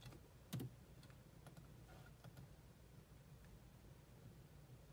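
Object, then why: Plastic laptop keyboard. Long manicured nails and fingertips tap rapidly across the low-profile plastic keys of a grey laptop keyboard while the other hand rests on a mouse. One sharper click stands out early, followed by soft, scattered key taps over a steady low hum.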